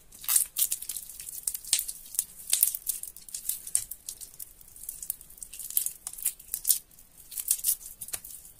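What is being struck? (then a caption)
Bar of soap. Both hands knead and crumble soaked, mushy, crumbly soap in a sink. It makes a continuous run of soft, wet crackling and crinkling with quick bright bursts, almost no low end and no ringing after each squeeze.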